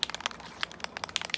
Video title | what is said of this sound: Spray Painting a Tumbler | I started shaking this one and you can hear the rattle